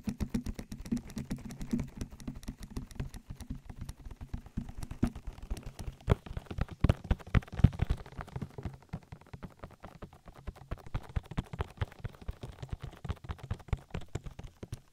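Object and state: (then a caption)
Silicone microphone ear. Fingertips and nails quickly tap and rub an oily silicone ear of a binaural microphone in close-up. The result is a dense, irregular patter of short, soft, dull taps that are mostly low and thumpy, with almost no brightness. A few louder taps stand out around the middle.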